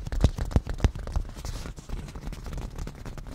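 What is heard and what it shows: Nail tips of both hands tap rapidly on a padded black grained leather cushion. The result is a quick, uneven patter of soft, dull, low thuds with almost no ring. A few stronger taps stand out early, then the patter settles into a softer, steady texture.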